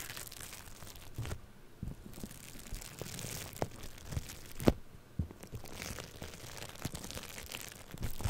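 Purple foam-bead floam clay pressed on a microphone is scratched with fingernails and a thin tool. Close, irregular crackling and crunching fills the clip, with occasional sharper pops standing out over a soft, muffled low rumble.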